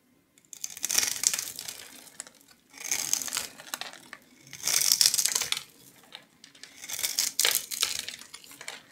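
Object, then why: Soap bar scraped by a metal knife. A metal knife blade scrapes small cubes off a solid, palm-sized yellow oval bar of soap, stamped with a logo and scored into a grid, held in one hand. Four bursts of bright, crisp crumbling and scraping are heard, separated by short pauses, as the soap cubes break away.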